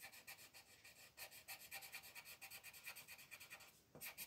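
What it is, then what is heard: Paper coloring page rubbed by pencil. A colored pencil rubs in small strokes at the top edge of a thin paper mandala coloring page lying on a table, while the other hand holds the sheet. About 17 quick, bright, scratchy strokes come in a steady rhythm, with a faint tone near 2.4 kHz. The strokes pause briefly just before the end, then resume.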